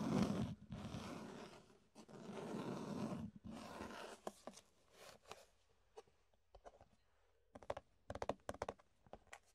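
Fingertips scratch and scrape the ridged sides of an empty, hollow clear plastic food container. Several long, loud, hollow scraping strokes come first, then the sound thins into quieter scattered clicks and sharp ticks that grow brighter and more clustered toward the end.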